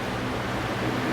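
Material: Nothing is struck.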